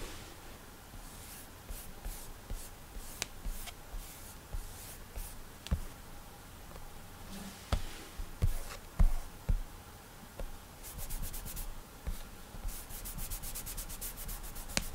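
Fingertips rub and slide across the flat glass screen of an iPad touchscreen while drawing, with scattered soft, dry taps on menu items. Between the taps there are quiet swishing strokes over a low background rumble, and rapid bright ticking bursts near the end.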